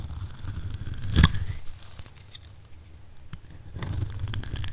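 A solid oval mint-green bar of dry soap, held in the hand, is scraped and cut with a metal blade, shaving off flakes. A dry, crunchy tearing scrape peaks in a sharp crackle just after the first second, quiets to soft crinkling through the middle, then grows louder again toward the end.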